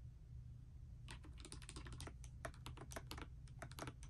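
A pastel dust silver D84 mechanical keyboard with plastic keycaps, resting on a bedspread, is typed on continuously with fingertips and long nails. After about a second of only a low hum, quick clacky key taps follow one another over that steady low background, with bright clicky tops.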